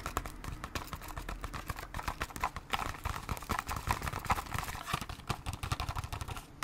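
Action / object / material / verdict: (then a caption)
tap / small cardboard bandage box / cardboard / none. Long acrylic nails tap quickly on the front of a small, hollow cardboard Band-Aid box. The result is a dense run of short, dry clicks with no ring, carrying a hollow tone around 1 kHz and a light, bright edge.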